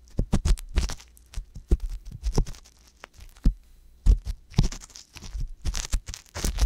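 An ear pick scratches and rubs inside the canal of the left silicone ear on a binaural microphone. Close, irregular scraping bursts and muffled low thumps come in uneven clusters with short pauses. Brief bright, scratchy edges sit over a heavy, boomy low end.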